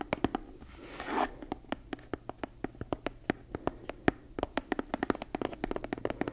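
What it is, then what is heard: Leather-bound book. Long nails tap and scratch a brown leather book with a laced spine, held to the side. About 36 quick, dry taps with a low body near 300 Hz and bright clicks come in an uneven rhythm, with a soft swelling scratch of nails over the leather near the first second.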